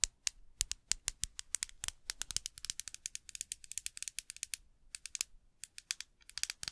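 Long acrylic nails tap rapidly on a small, clear glass perfume bottle with a metal cap, hollow and partly filled with liquid, held close to the microphone. Dozens of quick, bright clicks come in uneven bursts, each with a faint high glassy ring that dies almost at once, and there is very little low end.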